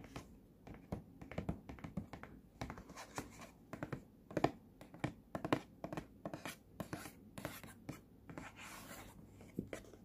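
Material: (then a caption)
Cardboard. Fingernails tap and scratch the glossy front of a small, hollow, printed cardboard earphone box, working toward its side edge. Quiet, dry clicks and scratchy rustles come in quick irregular bursts with a hollow, low-mid body and almost no ring.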